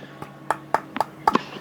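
Someone taps the head of an RF 01 Pro tennis racket frame several times, for comparison with tapping its heart. Each tap is a short, dry knock with a mid-pitched tone of about 880 Hz that dies away almost instantly.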